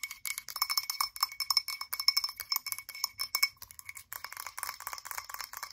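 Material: Glass.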